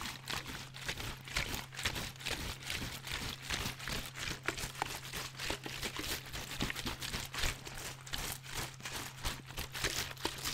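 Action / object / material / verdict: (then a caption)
shake / thin plastic water bottle with water inside / PET plastic / none. A large clear PET Vittel water bottle with water inside is held sideways, turned, squeezed and shaken by hand, crinkling the thin plastic. Dense, bright crackles and sloshing come in quick bursts throughout, over a steady low hum.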